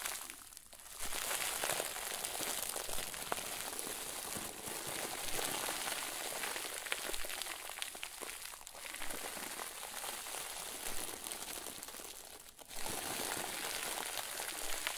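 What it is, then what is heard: Plastic bag of soft stuffing being squeezed. A round white plastic bag full of soft, fluffy stuffing is squeezed and kneaded with both hands. It makes a steady, dense crinkling and crunching with a bright, hissy top. The sound eases briefly at a few moments before picking straight back up.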